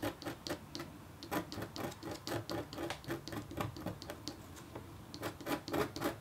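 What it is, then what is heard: Copper foil scratch art board. A red-handled, metal-tipped stylus makes rapid, short scratches across a flat, black-coated copper foil scratch art sheet. Quiet, dry scraping strokes with a bright, hissy edge come in an uneven run of about four per second. There are brief lulls near the one-second and five-second marks, and each stroke dies away almost at once.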